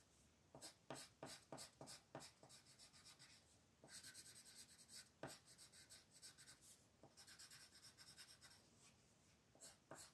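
A royal blue wooden colored pencil rubs steadily across a thin white paper mandala coloring sheet lying flat on a table. Quiet, bright, scratchy strokes come in quick, uneven bursts, some short and sharp and others in longer runs of shading.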